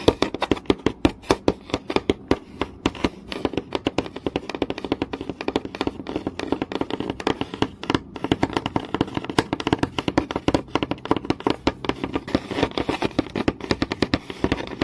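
Long nails tap rapidly and scratch across a flat, solid wooden board with visible grain. The result is a dense, continuous stream of short, dry clicks with almost no ring, centered in the low-mid range around 430 Hz, with light scratchy texture between the taps.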